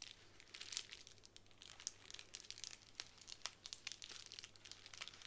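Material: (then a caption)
Plastic. Long nails scratch across a sheet of plastic bubble wrap lying on a table, producing a quiet, bright crinkling with many short, sharp ticks and clicks. The sound is mostly high-pitched with little low end, and a faint steady low hum runs underneath.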